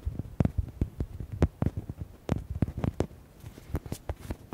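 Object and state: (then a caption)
Rubber duck toy, hollow. Fingernails quickly tap and scratch a palm-sized, red, hollow rubber duck toy. A rapid, uneven series of short, dull, low thumps comes with brief, soft scratching between them. Each tap dies away almost instantly.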